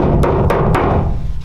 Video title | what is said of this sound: Tacoma Sound deadener installation (Fixing the Flipped Taco Pt 4) | So you can see there's like a hollow sound coming from it.